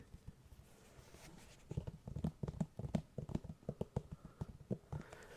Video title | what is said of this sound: ASMR: Brain Melting Tapping and Spine Tingling Whispers for Sleep | I can't hear this tapping as well as I'd like